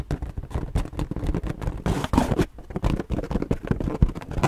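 A purple inflated latex balloon, hollow and air-filled and held in both hands, is tapped and scratched with long nails. A quick, irregular run of dull, low, muffled thumps mixes with soft rubbing scrapes, with little bright content and almost no ring after each tap.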